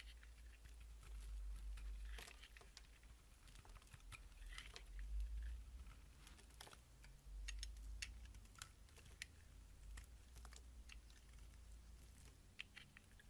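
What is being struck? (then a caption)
Bar of soap shaved with a blade. A box-cutter blade shaves the surface of a solid oval bar of green soap held in the hand, curling it into ribbons. Soft, crisp scraping and small crackling ticks come in an irregular, quick rhythm over a steady low hum.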